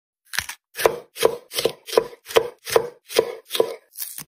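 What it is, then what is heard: Bell pepper tapped. A bell pepper is tapped in a steady series of about ten short, hollow knocks, spaced roughly 0.4 seconds apart. Each knock has a mid-pitched thud with a bright, brushy edge and dies away almost at once without ringing.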